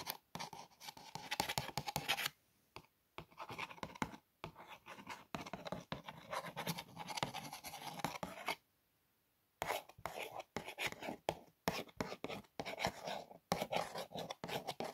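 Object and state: Cardboard cookie box.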